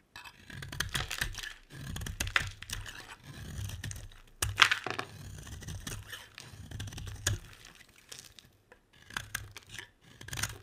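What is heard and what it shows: A metal utility blade shaves and scrapes a solid oval yellow bar of soap held in the hand, and the curls fall into a pile. The strokes make dry, crisp scraping and tearing sounds, in bright, crackly bursts with short pauses between them and a soft low rumble under each stroke.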